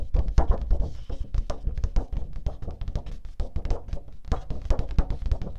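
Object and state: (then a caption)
Cardstock sheet tapped with fingernails. A flat teal cardstock sheet held upright is tapped rapidly by long pink nails. The taps land in a quick, continuous patter of short, dull, low thuds with almost no ring and only faint brighter clicks on top.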